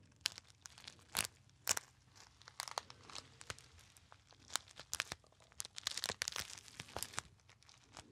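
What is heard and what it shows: A small, hollow, apparently empty gold metallized foil pouch is crinkled by fingertips close to the ear. It produces a steady stream of sharp, bright crackles and crunchy tearing-like crinkles with almost no low end. Louder bursts stand out over quieter rustling.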